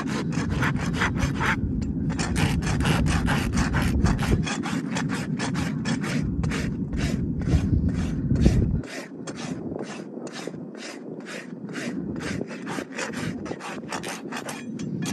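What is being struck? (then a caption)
Horse hoof sole, keratin horn, filed with a steel rasp. A long flat steel rasp is pushed in filing strokes across the sole of a horse's front hoof, solid keratin horn held between the farrier's knees. A steady, rapid run of scratchy rasping strokes, each with a bright edge, rides over a low rumble that drops away partway through, leaving the strokes thinner and quieter.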